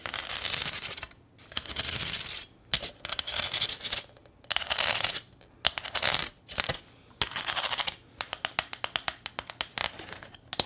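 Long nails tap and scratch rapidly on a small, thin corrugated sheet-metal welcome sign with a ribbon bow on top, held close to the microphone. The sound is bright and crisp, coming in dense rattling bursts separated by short pauses. Near the end it breaks into a quicker run of separate sharp ticks that die away almost instantly.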